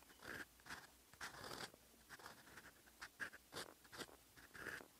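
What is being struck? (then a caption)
Lined writing paper under a metal fountain pen nib. A silver metal fountain pen nib writes in olive ink on a flat sheet of lined writing paper, scratching across the surface. The clip has short bursts of dry, papery scratching with quiet pauses between strokes, and a faint tonal squeak around 1.6 kHz rides on the louder strokes.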